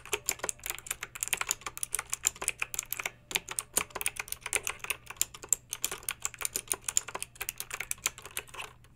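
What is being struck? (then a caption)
Plastic mechanical keyboard with round keycaps. Long pink acrylic nails type on a pink plastic mechanical keyboard with backlit round plastic keycaps. A steady run of bright, sharp, clicky keystrokes with almost no ring pauses briefly near the three-second mark, then continues quickly to the end.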